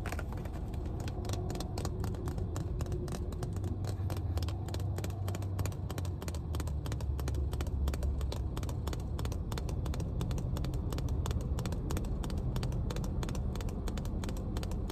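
A small, clear, mostly full plastic water bottle is held in the hand inside a car and tapped rapidly with long nails. The quick, light clicks and taps run continuously over a steady low rumble.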